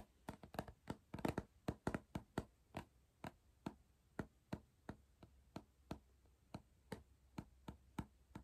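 Fingertips tap near the plastic lid and upper rim at the top of a hollow Pringles cardboard crisp tube. The quiet, dry, hollow taps have a low-mid body and little high end, and each dies away almost at once over a faint steady hum. The taps come in a quick cluster early on, then settle into a slower, even rhythm.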